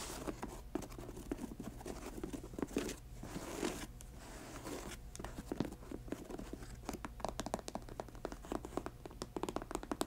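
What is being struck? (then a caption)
Patent leather high-top sneaker. Long nails scratch the laces and tap the glossy patent toe of a grey patent leather high-top sneaker. Quiet, dry scratching and crisp little clicks come in quick irregular bursts over a steady low hum, and each tap dies away almost at once.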